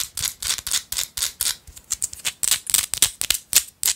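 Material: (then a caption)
Rock salt. Long light-blue acrylic nails scratch a small, solid, pinkish-orange Himalayan salt rock held in the hand. The result is a rapid, uneven series of about 18 short, bright, dry scratches with almost no low end.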